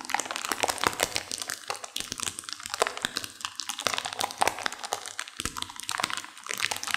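A sealed plastic instant-noodle packet with dry noodles inside is squeezed and crunched by hands and long nails. Dense, bright crinkling of the wrapper mixes with sharp crunches from the noodles, with almost no low end and no ring after each snap.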